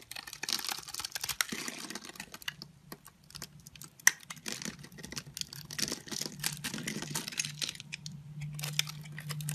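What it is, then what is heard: Bar of soap being carved. An orange and white striped solid bar of soap, held in the hand, is scored into small cubes and cut and scraped with a utility knife blade, making crumbles fall off. Dense, crisp, bright scratching and crackling ticks run throughout, with one sharper snap near the middle. A faint low hum sits underneath.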